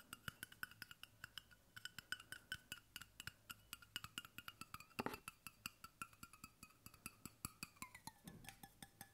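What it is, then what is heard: Stainless steel water bottle. Fingertips and nails tap quickly and steadily on the base and side wall of a hollow brushed stainless steel water bottle held close to the mic. Dozens of crisp, short clicks each carry a faint bright metallic ring that dies away fast, with a louder, fuller knock a little past the middle.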